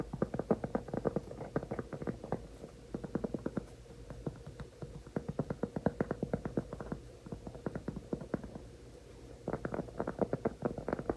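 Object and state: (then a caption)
Cork trivet tapped with fingertips and nails. A large, flat, solid round cork trivet is held in both hands while fingertips and nails tap and scratch its surface. Quick, soft, dull taps come in rapid bursts with short pauses between them. Each tap is low and muffled and dies almost at once.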